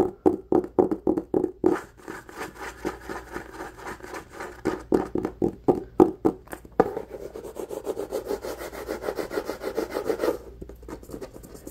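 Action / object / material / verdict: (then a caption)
scrape / cloth-bound hardcover book / cloth / none. Fingertips and nails rub and scratch the textured cloth cover of a solid, medium red hardcover book, and the book is then held edge-on. The strokes are fast, uneven, dry and scratchy, with a mid-low tone. They run in short bursts before blurring into a denser, continuous scrape near the end, then fade to quiet.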